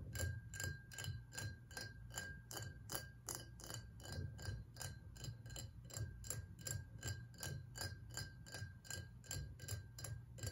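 A tall, ridged glass whiskey bottle, partly filled with liquid and standing on a table, has its ribbed sides tapped quickly with the fingertips and nails of both hands. About thirty crisp, short taps follow in a fast, slightly uneven rhythm, each a bright click over a soft low thud. A faint, steady glassy ring hums underneath.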